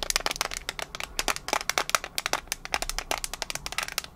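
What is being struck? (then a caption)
Small metal mints tin. A small, flat, printed metal tin of mints is held in the hand and tapped and scratched with long nails. It makes a rapid, uneven run of sharp, bright clicks and ticks with faint scratchy rasps between them. Each tap dies away almost instantly, with a thin metallic tone and almost no low end.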